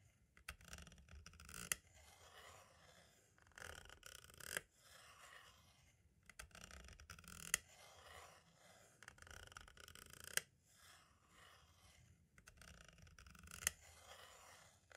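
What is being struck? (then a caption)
Plastic audio cassette shell. A pointed tool tip taps and scratches the top right edge of a small, hollow, white plastic audio cassette shell. Quiet, bright scratchy scraping comes in irregular bursts, broken by sharp, dry clicks that stop instantly.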